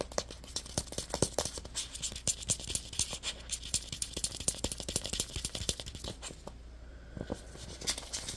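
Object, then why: Small plastic egg-shaped container. Short fingernails rapidly scratch and tap the shell of a small, hollow, purple, egg-shaped plastic Play-Doh container held in the fingers, making dense, bright, dry ticks and clicks that die away instantly over a faint steady low hum. Near the end the hands cup the egg, briefly muffling the sound and dulling its bright edge before a few last taps.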